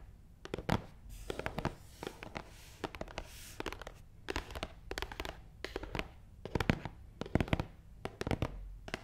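Long nails tap quickly across the top of a long, hollow, black matte cardboard box in a steady stream of short, dry clicks. The taps come in irregular bursts, with a soft hollow thud beneath them and faint scratchy brushes in between.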